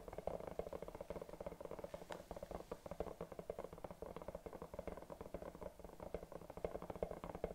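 Long dark nails scratch and tap rapidly over a hollow silicone bunny night lamp held in both hands. The result is a steady stream of soft, muffled, mid-pitched taps and rubbing scratches with very short decays, over a faint low hum.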